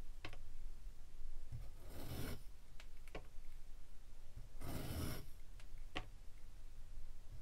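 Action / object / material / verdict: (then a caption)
scrape / kinetic sand pyramid scraped with a metal slicer / kinetic sand / none. A metal cheese slicer scrapes and shaves slices off one face of a solid, palm-sized, molded purple glitter kinetic sand pyramid resting on a white table. Two longer gritty, crunchy rasps stand out among several short, sharp scraping ticks over a low background rumble.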